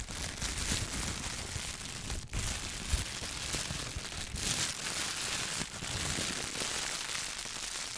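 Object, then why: Thin plastic shower cap. A clear thin plastic shower cap is first stretched wide between both hands, then bunched up and crinkled with fingertips close to the microphone. The result is a steady, dense crackle of bright, hissy plastic rustling with a soft low rumble underneath. Brief dips and swells in the crinkling mark changes in handling.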